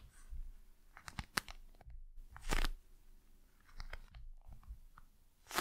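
A gel-filled eye mask with a glossy plastic surface is held in both hands while long nails tap and scratch its face. Quiet, soft handling is broken by sharp crinkly crunches and scratchy bursts of brushing, with very short, dry taps.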